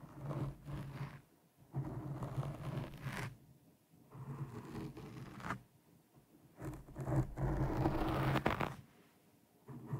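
Long painted nails on one hand scratch a black foam windscreen over a microphone. Five bursts of close, muffled scratching and rustling are heavy in the lows, with short quiet gaps between them.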